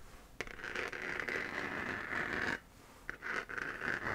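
Long nails scratch across a hollow, textured 3D-printed plastic moon lamp sphere that is held while glowing white. The result is a dry, raspy scraping centered around 1.5–2 kHz. It runs steadily for about two seconds, stops briefly, then returns in shorter strokes.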